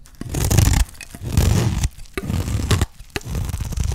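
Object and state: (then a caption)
Dry soap bar being shaved. A utility knife blade shaves the face of a solid, dry green olive soap bar into crumbly curls. Several long, rasping scrape strokes carry a dense low rumble, separated by brief pauses and sharp ticks as the blade catches and lifts.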